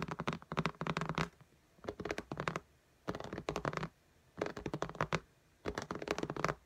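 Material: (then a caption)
Glass. Long nails scratch and tap on the glass screen of an iPad lying flat in a pink case, making quick, dry clicks and scrapes with a low thump under them. They come in five busy bursts separated by short quiet pauses.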